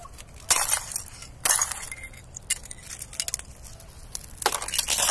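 A knit-gloved hand presses and knocks on a thin, clear, hollow-backed ice sheet lying over dry grass outdoors, cracking it into large glass-like pieces. Bright, crisp cracks and tinkling snaps arrive in several bursts over a quiet background, each like breaking glass and fading quickly.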